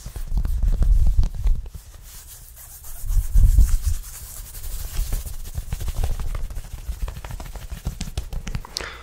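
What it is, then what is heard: Cotton t-shirt scratched on the chest. Fingertips and short nails of both hands scratch and rub a white cotton t-shirt worn on the chest under an open checked shirt, with a metal chain necklace above left untouched. Close, low, muffled scratching and rubbing comes in uneven bursts, loudest near the start and again around three to four seconds, then continues more softly.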